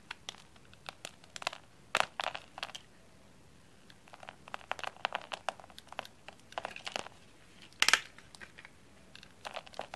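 A round, solid, dried-out cream soap bar with a textured surface is held in the hand and cut into small cubes with a blade, the cubes falling onto a cutting mat. Many short, dry, bright crunches and crackles come in irregular bursts, with the loudest snaps near 2 and 8 seconds. There is little low end and the sound dies away almost at once.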